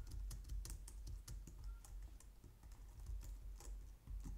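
Both hands type on a white plastic low-profile wireless keyboard using long painted nails and fingertips. The result is a steady stream of quick, bright plastic clicks and taps over a low, dull thud from the keys bottoming out.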